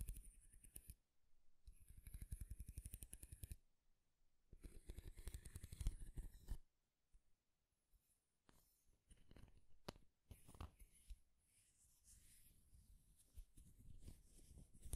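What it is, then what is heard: Wooden comb. Fingertips and nails scratch and strum the teeth of a light wooden wide-tooth comb held in both hands, making quiet bursts of rapid, dry clicking. The strumming comes in several separate runs, followed by a few sparse single clicks and then a longer stretch of softer scratching.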